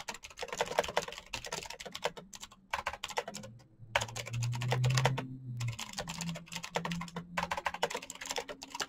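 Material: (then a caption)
Plastic. Fingertips type fast on a full-size black plastic Razer mechanical keyboard with clicky green switches and RGB backlight. The result is a dense, rapid stream of sharp, bright clicks over a low hum that swells in the middle of the clip.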